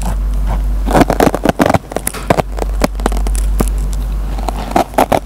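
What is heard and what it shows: The metal tip of a pen picks and scratches at the fibers of a dry kitchen sponge with a green nylon scouring layer. Bursts of crackly scraping and sharp ticks come in uneven clusters over a steady low hum.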